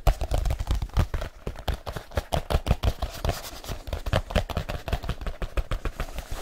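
Fingertips and nails tap rapidly on the surface of a large, hollow black leather folio case. About three dozen quick, dull taps sound with a deep, hollow thump, each one dying away almost at once.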